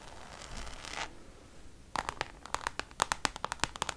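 Long nails scratch across the face of a Louis Vuitton Damier checkered coated canvas zip pouch for about a second, giving a soft, hissy rasp. After a brief quiet pause, the nails tap it in a quick, uneven series of around twenty sharp, dry clicks with a bright ring centred near 860 Hz that stop instantly.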